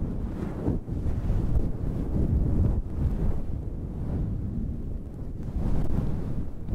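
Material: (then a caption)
Synthetic fur. Long red nails rub and scratch a fluffy synthetic fur windscreen on a handheld black recorder. The result is a steady, muffled, wind-like rumbling rustle, almost entirely low and with no bright edge, swelling and dipping slightly as the strokes change.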